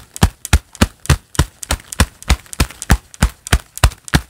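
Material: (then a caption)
Leather. A pair of black leather gloves worn on both hands, with the gloved palms clapped together quickly. The result is a rapid, fairly steady series of short, dry, low thumping claps with a bright slap on top and almost no ring after each hit.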